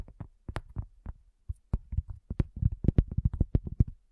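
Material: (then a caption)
Cork. A round, flat, solid cork coaster lying on a black table is tapped by the long natural fingernails and fingertips of both hands, with a handheld recorder resting at its front edge. Short, dull, low thuds come with brief bright nail clicks, each dying almost at once. The taps start sparse and grow into a quicker, denser run in the second half.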